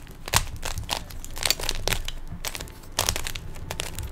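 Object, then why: Plastic 3x3 puzzle cube. Fingertips twist the layers of a small hollow plastic 3x3 Rubik's cube, producing a quick run of bright, dry plastic clicks and crunchy scrapes. The turns come in short bursts over a low rumble, each snapping off almost instantly.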